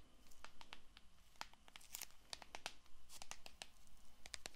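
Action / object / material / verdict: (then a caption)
scrape / cellophane-wrapped paperboard card box / cellophane, paperboard / none. A small cellophane-wrapped paperboard playing card box is held close to the microphone while long nails scratch and tap its surface and edges. The result is a quiet run of sharp, bright crinkling ticks and scrapes over a low steady hum.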